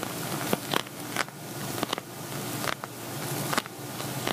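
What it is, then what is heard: Empty glitter vinyl cosmetic bag. Fingernails tap and scratch the glittery surface of an empty, hollow silver glitter vinyl cosmetic bag held upright. Eight sharp, crackly taps stand out over a steady, bright, rustling scratch. Each tap dies away at once with no ring.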